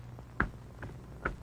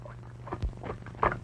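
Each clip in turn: First: solid-packed can of peas. Second: can of peas packed in water, watery.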